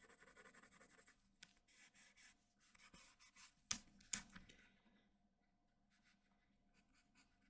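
A graphite pencil held in the hand scratches and shades the eye area of a portrait on a large, flat sheet of white drawing paper. Quiet, bright, scratchy strokes come in short rhythmic bursts, broken by a few sharper ticks of the pencil tip. The strokes then fade to softer, sparser shading.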